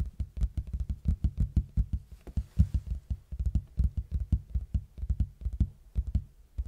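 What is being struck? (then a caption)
Large cardboard box. A large, plain, hollow red cardboard box, held at an angle, is knocked and tapped on its face with fingertips in a quick, uneven series of soft hits. Each tap lands as a short, dull, low thud with a deep hollow body and almost no ring, with faint brighter clicks on the sharper strikes.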